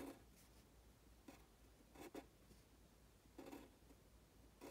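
A pen tip scratches across a thin printed paper worksheet in writing strokes, as if writing Chinese characters. Five short, quiet scratchy bursts stand apart, each with a mid-low body around 270 Hz and faint bright streaks, over a steady low background hum.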